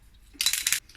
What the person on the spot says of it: faut vraiment beaucoup le secouer, vous entendez la bille